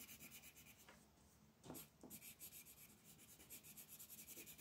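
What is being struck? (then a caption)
Wooden colored pencil on paper. A magenta wooden colored pencil is rubbed across a flat white paper mandala coloring sheet on a table in shading strokes. The result is a soft, bright, papery scratching that pulses quickly and steadily, with a brief quieter lull in the middle.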